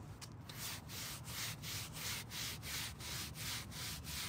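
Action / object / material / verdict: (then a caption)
scrape / carpet car floor mat scrubbed with a stiff hand brush / carpet / none. A gloved hand scrubs a long, dark grey carpet rear car floor mat, wet with cleaner and lying on a folding table, using a green-bristled hand brush. Steady, rhythmic back-and-forth strokes, almost three per second, make a bright, scratchy bristle hiss over a soft low rumble.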